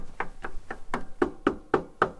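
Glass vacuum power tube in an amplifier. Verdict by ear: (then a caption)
Sound. Eight short, dry knocks land on a glass EL34 vacuum power tube installed in a Mesa Boogie RA 100 guitar amp, a replacement chosen after testing as the least rattling. Each tap is a quick low-mid thud that dies away almost at once, with the last four a little louder. No rattle follows the knocks, so it is judged a good, non-rattling tube.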